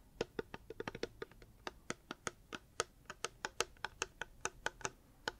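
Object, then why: Hard plastic water bottle. A reusable hard plastic water bottle is tapped with the fingers in about two dozen quick, uneven taps. Each tap is a short, dry click with a hollow tone near 465 Hz and almost no ring.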